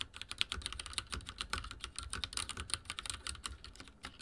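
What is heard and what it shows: Fingertips type very fast on a backlit mechanical keyboard with dark plastic keycaps and a silver frame. The result is a rapid, dense stream of sharp, bright key clicks that die away almost instantly, over a faint low rumble.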